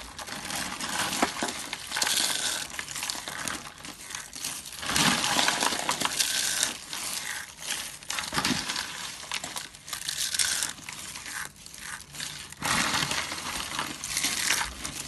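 Both hands scoop up brittle pink, blue and cream dry soap curls and flakes from a full box and crush them. Dense, bright crunching and crackling run continuously for about fifteen seconds, swelling in louder bursts as fresh handfuls are squeezed, with little low end.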